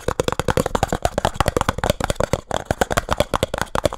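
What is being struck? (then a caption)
Small printed cardboard box. Fingertips and nails tap quickly on the faces of a small, hollow, printed cardboard speed cube box. A rapid run of 26 dry, short taps carries a hollow resonance around 580 Hz with a light papery click on top. Each tap dies away almost instantly.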